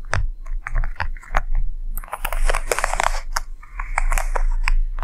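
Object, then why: Quilted leather handbag. Long nails and fingertips scratch and tap the quilted top flap of a medium, closed, hollow red quilted leather (or faux leather) handbag on a table in front of the mic. Dry, crunchy scratches and sharp taps come in quick bursts, with a steady low hum underneath.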